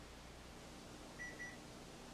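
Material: Nothing is struck.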